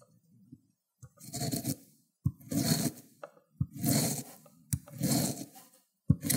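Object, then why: Cucumber on a ceramic grater plate. A cut cucumber end with pale flesh is rubbed back and forth on a ceramic grater plate with wet pulp. Five wet grating strokes each start with a sharp knock, then a rough, crunchy scrape with a low body and a bright hiss on top, separated by short pauses.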